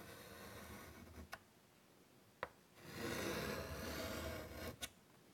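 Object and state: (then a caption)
Chalk drawing on a wood-framed chalkboard. White chalk scratches butterfly outlines on a large, flat, wood-framed chalkboard, making a raspy, rubbing scrape. Three short, sharp taps of the chalk against the board cut through the scraping, and a louder, brighter stretch of scratching fills the middle of the clip.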